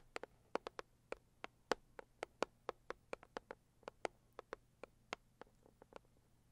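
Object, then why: Closed cardboard gift box. Long acrylic nails tap and scratch the lid of a medium, closed, hollow pink floral cardboard gift box. About 24 quiet, sharp, dry clicks arrive at an uneven pace, each with a hollow midrange knock and a bright, crisp edge that dies instantly. A faint low hum runs steadily underneath.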